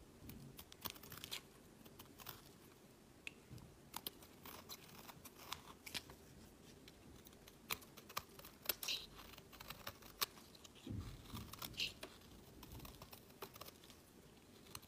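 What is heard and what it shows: A solid peach bar of soap is shaved with a metal utility blade in short strokes, its curls piling up on a woven mat. Quiet, bright, crisp scraping and crunching sounds come in dense bursts, with many short ticks and no lingering ring.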